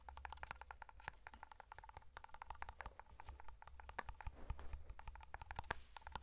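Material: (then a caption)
Metal. A small black round metal tin of matte hair cream is held in one hand while fingernails tap and scratch its lid and side. The result is a quick, dense run of short, dry metallic clicks with a mid-pitched tone around 875 Hz, mixed with scratchy rustling. A steady low hum sits underneath.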